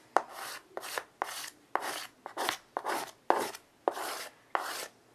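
A child draws repeated curved strokes with white chalk on a small wood-framed chalkboard resting on carpet. Each stroke starts with a sharp tap of the chalk, then a dry, bright scratching rasp that fades into short pauses, giving a steady rhythmic pattern.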